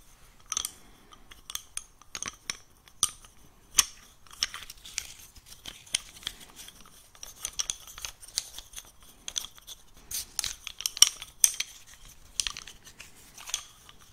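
A small handful of thin, light-colored wooden craft sticks, like coffee stirrers, is held in both hands while fingertips tap, scratch and rub the sticks against each other. The result is a run of crisp, dry, clicky and snappy sounds that are almost all high and bright, with very little low end. Scratchy rustling fills the gaps between the short taps.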